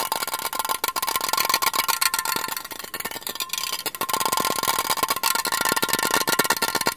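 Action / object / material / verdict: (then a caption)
tap / aluminium drink can / aluminium / none. A silver Asahi aluminium beer can, standard size and hollow, is held in both hands and tapped and scratched with fingertips and nails. A rapid, continuous stream of light, bright metallic taps and scratches rings briefly around 1.4 kHz, with a slightly quieter stretch in the middle.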